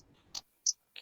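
A plastic adapter casing is knocked on, giving three short, bright clicks spread across the second, with a faint low hum underneath at the start. The middle click is the loudest and sharpest, and each one dies away almost at once.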